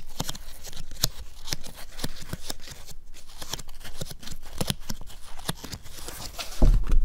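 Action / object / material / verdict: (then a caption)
scrape / stretched cotton canvas in a wooden frame / cotton canvas / none. Fingertips and nails scratch and tap on the bare cotton fabric at the back of a hollow stretched canvas, near the edge of its wooden stretcher frame. Quick, dry taps and scratchy rustles follow one another with a soft, low drumming body and bright clicky edges that die away almost instantly. A heavier, louder burst comes at the very end.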